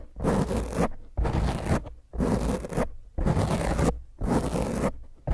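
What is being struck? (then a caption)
Foam microphone windscreen. Both hands with long painted fingernails scratch and rub a round black foam windscreen over a microphone; the foam is soft and porous. Six separate bursts of rough, crunchy scraping are heard, each lasting about a second, with dense low rumble and brief quiet gaps between them.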